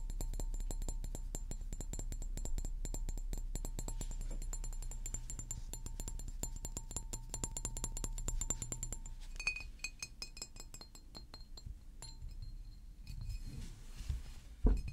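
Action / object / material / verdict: tap / large glass water bottle / glass / none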